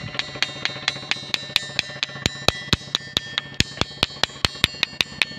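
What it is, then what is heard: Ringing stone. A natural ringing stone in Kariyana village, Babra, Amreli district, is struck in a steady, even rhythm of about 24 sharp hits over five seconds. Each strike gives a bright, metallic, bell-like ping with high overtones, little low end, and a faint ringing tone that carries between strikes.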